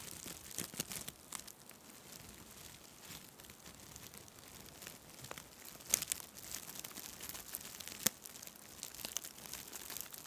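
A white nylon mesh shower pouf is pressed against the side of a microphone and squeezed and rubbed by fingers with long red nails. It makes soft, bright crinkling and scratchy rustling with irregular sharp crackles. A few louder snaps stand out near the middle and later part.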